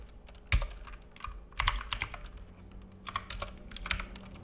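Fingertips of both hands type on a black full-size mechanical keyboard with plastic keycaps and a hollow case, resting on a wooden desk. Quick, uneven bursts of sharp, bright key clacks with a hollow low thump underneath. Each tap dies away almost at once.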